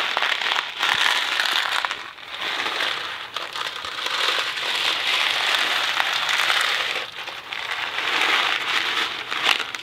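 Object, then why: Thin cardboard box filled with dry pasta. A thin cardboard Kraft macaroni & cheese box filled with dry pasta is held in one hand and shaken, the box ending partly out of frame. The pasta makes a dense, bright rattling crackle with no low end, swelling and easing in continuous waves with brief dips as the shaking changes.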